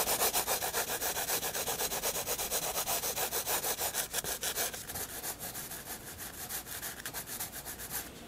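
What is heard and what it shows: A graphite pencil shades on a white paper sketchbook page with about 25 quick, steady back-and-forth rubbing strokes, each a bright, dry scratchy rasp. Around the midpoint the strokes turn lighter and thinner, with a higher, hissier edge and slightly less even rhythm.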